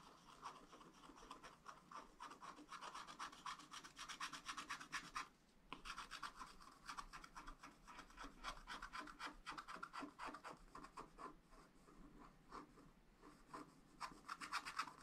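A thin wooden stylus held in the fingers scratches a black wax-coated scratch-art paper page in a spiral-bound book lying flat, revealing colored strawberry shapes. Quick, continuous, dry rasping strokes with a scratchy midrange around 1.3 kHz and a bright hiss run throughout. There is a brief pause just before the 6-second mark.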